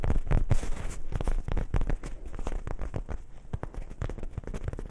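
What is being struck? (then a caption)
Soft fabric zippered pouch. A small, dark grey, hollow soft-fabric zippered pouch is held in both hands close to the microphones and scratched and rubbed with fingertips and nails. It makes a dense run of quick, irregular scratchy crackles and rustles with a low, muffled body. The crackles come in loose bursts, louder at the start and steadier toward the end.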